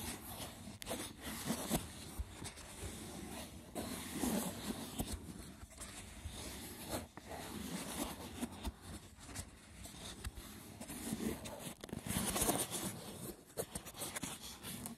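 Fingertips with short nails scratch and tap the braided top of a small, hollow, rectangular woven wicker box with a lid. The result is a steady, rough, crackling scratch broken by soft, dull taps.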